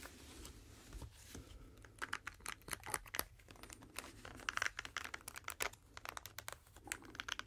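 A pink, hand-sized, flexible silicone brush cleaning mat with a textured ridged surface is held in both hands and scratched and rubbed with fingertips and nails. The result is a quiet stream of short, dry, bright scratching and crinkly tapping sounds that start and stop abruptly with almost no ring. The taps grow denser and sharper toward the end.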